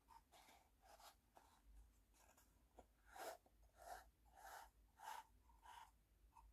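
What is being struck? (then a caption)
Small wooden tea box with sliding lid. A small hollow wooden tea box has its wooden sliding lid pushed open and closed, and fingernails tap on the box. Soft, hollow wooden knocks ring around 880 Hz with a faint bright edge. They come in about seven short, quiet strikes at an uneven pace, growing firmer in the second half.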